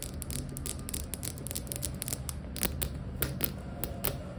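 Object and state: Ceramic floor tile tapped with nails.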